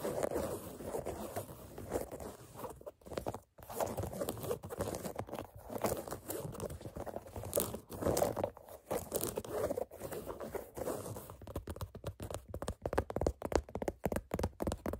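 Long nails scratch and tap along the black canvas side panel of an empty sneaker, giving a steady dry scraping with soft crunchy, crinkly texture centered in the low mids. Toward the end the strokes break into a quicker run of short, sharp taps with brief gaps between them.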